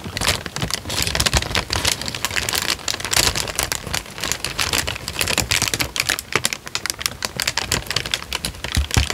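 Fingertips crinkle and flex a thin, light-brown paper sheet, partly folded and then spread out, close to the microphone. A dense, continuous run of crisp, bright crackles and sharp snaps comes with very short decays and little low end.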